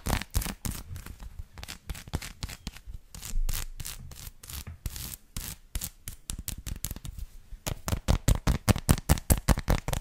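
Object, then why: Dark chocolate bar. Long lilac nails scratch and tap a solid dark chocolate bar with a bumpy, dotted surface, held in the hands. Dry scratching mixes with short, dull taps that die away almost instantly, and a quicker, steadier run of sharp taps comes toward the end.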